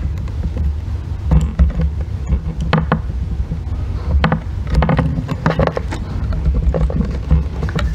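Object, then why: Bar of soap scraped with a thin metal tool. A thin metal blackhead-remover tool is scraped repeatedly across a solid green bar of soap, leaving flaky shavings on its surface. Short, dry scratchy strokes come in quick irregular bursts over a steady low rumble that dominates the sound.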